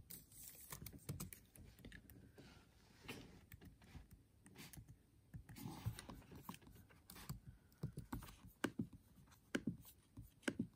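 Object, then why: Laptop keyboard, plastic keys in a metal body. Fingertips with short nails tap and press the black plastic keys of a MacBook Air keyboard, set in an aluminium body and lying on a desk, in a typing motion. The result is a quiet, uneven run of soft, dull, low-pitched clicks that die away almost instantly, with a few louder taps near the end.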